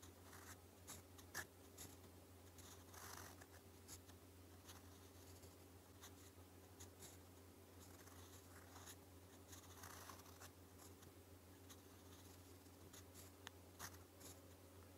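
A gold metal fountain pen nib scratches across a thin, flat, lined white sheet of paper, writing Korean in purple ink. Soft, bright scratching strokes come in short bursts over a steady low hum, with a few sharper taps standing out.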